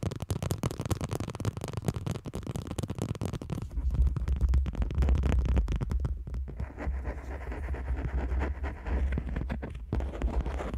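Two people tap long nails along the back and edges of a smartphone in a black plastic case lying flat on a microphone. Rapid, uneven clicks and scratches ride over a deep, boomy low rumble. The sound grows fuller and louder from about four seconds in.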